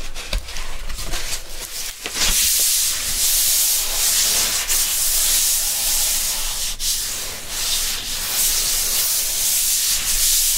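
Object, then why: Cardboard LP album sleeve. A thin, flat, printed cardboard vinyl record jacket, about 31 cm square, lies on a stack of records. It is flipped from its front cover to its back with a few soft papery knocks, then its surface is rubbed with gloved fingertips in slow sweeping strokes. The result is a steady, bright, hissy scraping that swells and eases with each stroke.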